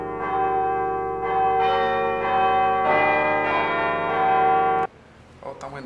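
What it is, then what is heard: Cracked bronze bell. A cracked bronze bell, with a crack running to its rim, is struck repeatedly before being repaired. It gives overlapping, bright metallic rings around 600 Hz with dense overtones that build on one another. The ringing cuts off abruptly near five seconds, leaving only faint, quieter sounds.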